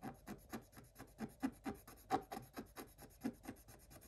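Fingers scratch the black coating of a scratch-art paper page lying flat, using the tip of a thin wooden stylus. About 17 short, quiet, rasping scratches follow one another in an uneven rhythm, each a dry, breathy rub with no ring after it.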